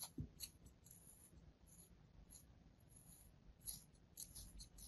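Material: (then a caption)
Kinetic sand. A solid, flat molded slab of beige kinetic sand, held in the palm over a sand tray, is scored with repeated thin cuts from a metal blade. The cuts make quiet, soft, crisp scratches with a bright, grainy hiss over a low, muffled rumble, each one fading almost at once.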